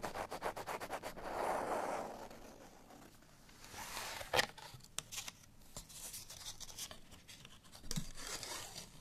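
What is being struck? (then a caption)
Cardstock paper tag with string. A cardstock bottle tag with a string is scratched with fingernails, first against a surface and then while held in the hand. A fast run of crisp scratches gives way to a softer rubbing swell, then quieter papery scraping with a few sharp clicks and bright, dry scratch bursts.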